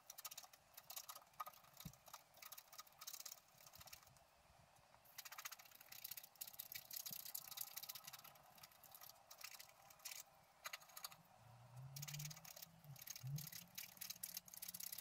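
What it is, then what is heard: Scratch-art card being scratched. A wooden stylus scratches across the lower leaf area of a flat black-coated scratch-art card, producing bursts of bright, dry scratching broken by short quiet pauses. A faint low hum rises beneath the strokes near the end.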